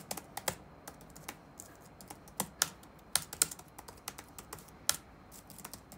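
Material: Plastic.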